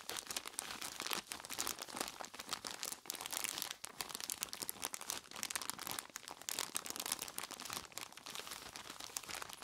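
Purple nitrile-gloved fingertips squeeze and scratch a large clear plastic bag full of crushed ice, tied at the top. A dense, continuous run of bright crinkling and crunching fills the clip, with quick sharp clicks and almost no low end.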